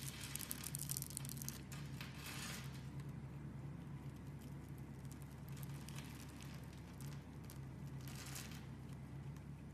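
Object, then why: Soap bar scraped with a small blade. A small metal blade scrapes and cuts into the surface of a hand-sized, solid rectangular bar of pink and white striped soap held in the hand, shaving off small pieces. Dry, crinkly scraping bursts with a bright hiss come strongest early on and again near the end, over a steady low hum.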